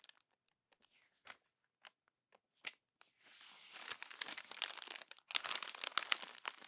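A glossy paper magazine page is smoothed with a palm, then crumpled and turned by hand. Sparse, soft crinkles and brief paper ticks in the first three seconds build into a dense, bright crackling and crunching crumple that continues with short pauses to the end.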